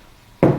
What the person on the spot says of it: when you knock on here ... it's a nice thud right